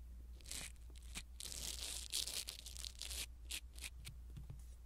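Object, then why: Foam microphone windscreen. A blue silicone-bristle ear pick scratches and rubs a small black foam windscreen on a pin microphone, producing close, bright, scratchy rustling in quick uneven bursts. A steady low hum runs underneath.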